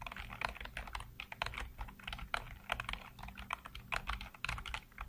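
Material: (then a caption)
Plastic. Fingertips type rapidly across a full-size black plastic computer keyboard with hollow keycaps. It makes a fast, uneven stream of short, hollow plastic clacks with a bright edge and a low, soft thud underneath. Each keystroke dies away almost instantly.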